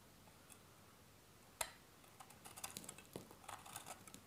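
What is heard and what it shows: A solid cream-colored bar of dry soap, held in a tattooed hand, is cut and scraped repeatedly with a metal utility blade. After a quiet start, one sharp crisp cut is followed by a quick run of small, dry, bright ticking scrapes, each dying away almost instantly.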